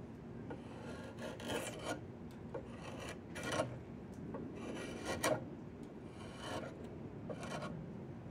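Two hands push a yellow-handled steel chisel along a long, solid diamond willow branch being carved into a walking stick, in repeated scraping and carving strokes. Each stroke makes a dry, rasping scrape with a bright hiss and a mid-range bite, over a steady low rustle. The strokes come at an uneven pace.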